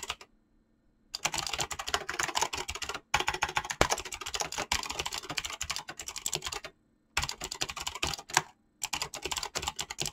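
Fingertips type fast and continuously on a mechanical keyboard with pink-blue PBT plastic keycaps. The clicky switch presses make a bright, clattering stream of sharp keystrokes. The typing is broken by a few short pauses of silence.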